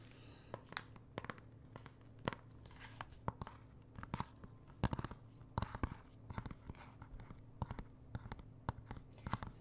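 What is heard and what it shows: Fingernails scratch and tap on the plastic-wrapped cover of a thin, hollow plastic Xbox One game case for Prey, held in the hand. Quick, dry clicks and taps come in uneven bursts over soft crinkly scratching, with a steady low hum underneath.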